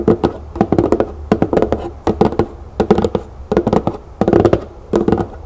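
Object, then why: Large lidded cardboard box. Long green nails on both hands tap and scratch the lid of a large, hollow, lidded cardboard box printed with butterflies and flowers. Quick clusters of dry, hollow taps come in short bursts, mixed with soft scratching, in an uneven rhythm. Each tap is mid-pitched, dies away almost at once, and has little deep low end.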